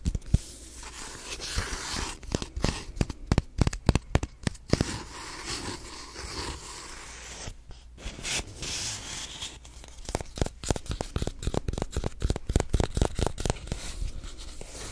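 A white plastic lotion squeeze tube with a green label is rubbed and scratched with fingernails and fingertips close to the mic. Dry, crinkly rubbing is broken by dozens of sharp, quick scratches and clicks that stop dead, with a low, full body under a brighter hiss. The scratching comes in dense bursts with a softer, steadier rubbing stretch near the middle.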